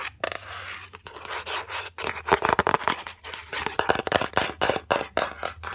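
Long pink and red acrylic nails tap and scratch the lid and edges of a yellow Fendi cardboard gift box, rectangular and hollow. Quick, irregular bursts of dry taps mix with bright scratching swipes, each sound dying away almost at once with little low end.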